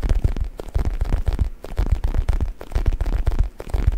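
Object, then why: Stuffed faux leather neck pillow. Fingertips scratch, rub and squeeze the surface of a soft, stuffed black faux leather U-shaped neck pillow held in both hands behind the mic. The result is a stream of quick, muffled, deep thumps and rustling bursts that are heavy in the low end, with almost nothing bright on top.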